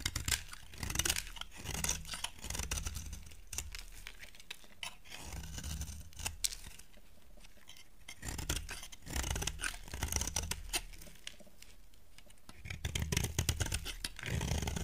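A utility knife blade shaves a solid green soap bar held in the hand into curls, giving dry, crisp scraping strokes with a bright, papery rasp and a low handling rumble underneath. The strokes come in dense bursts separated by quieter pauses, around 7 to 8 seconds and again around 11 to 12.5 seconds.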